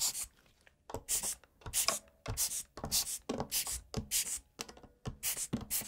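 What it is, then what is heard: Mechanical keyboard being brushed. A gloved hand scratches and brushes a blue-tipped brush between the exposed brown switches on the plate of a full-size black plastic mechanical keyboard with its keycaps removed. The result is a run of short, bright, bristly scrapes in quick bursts, separated by brief near-silent pauses.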